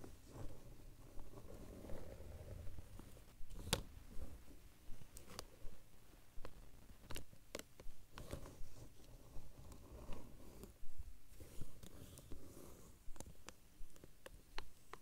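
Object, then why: Plastic binder cover. Fingertips and short nails tap and scratch the surface of a large, flat, dark plastic or vinyl binder cover lying flat. Soft, low, rustling scratches run throughout, broken by a series of sharp, brief taps that flick up into bright, high clicks. The overall sound is quiet and close.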